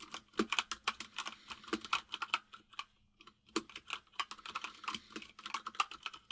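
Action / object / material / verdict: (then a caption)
tap / mechanical keyboard with plastic keycaps / plastic / none. Both hands type rapidly with the fingertips on a white full-size mechanical keyboard with plastic keycaps resting on a desk. About 33 quick, bright, clicky taps come in bursts with a brief pause near the middle, each snapping off almost instantly.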